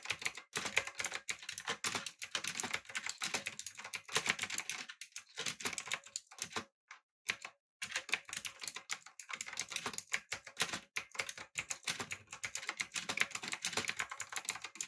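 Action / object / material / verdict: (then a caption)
tap / mechanical keyboard with plastic keycaps / plastic / none. Fingertips type on a backlit, typewriter-style mechanical keyboard with round plastic keycaps. Rapid, bright, dry clicks come in dense bursts, with a brief pause around the middle before the typing resumes.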